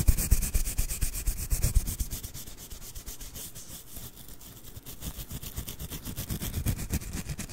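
Fingertips rub and squeeze the fuzzy white fabric surface of a small soft plush snowman toy with a grey scarf and hat, held in both hands beside the microphone. Rapid, uneven scratchy brushing strokes carry a bright hiss over soft, muffled low thumps. The rubbing is loudest at the start, eases off through the middle, and picks up again toward the end.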